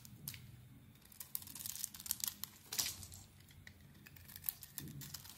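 A solid white rectangular bar of soap, held in the hand, is shaved flat with a utility knife blade, sending flakes falling. Quiet, crisp scraping strokes come in short bright bursts, crackling and papery like tearing, over a faint low hum, with the loudest rasps near the middle of the clip.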